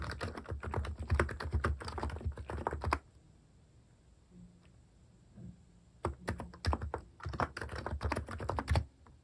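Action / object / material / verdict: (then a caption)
tap / compact keyboard with plastic keycaps / plastic / none. Fingertips type rapidly on a compact electrocapacitive keyboard fitted with plastic cat-shaped keycaps. Dense bursts of soft, low, muted key presses run for about three seconds, pause into near silence, then resume for the final few seconds.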